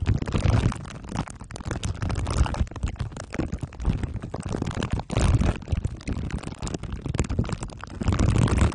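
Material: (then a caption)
Aluminium foil. Glue stick tips are rubbed over the top of a microphone head wrapped in crumpled aluminium foil under clear plastic wrap. The result is a continuous, dense stream of deep, muffled rumbling and crackling scrapes, heavy in the low end with little brightness. The loudness swells and dips throughout.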